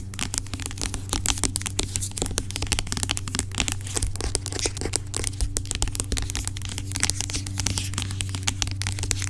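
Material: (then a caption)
Plastic. Long acrylic nails rapidly tap and scratch the sides of a large, dark plastic pump bottle of aloe vera gel lying on its side, hollow and seemingly filled with gel. The result is a dense stream of sharp, bright clicks and scratchy rasps over a steady low hum.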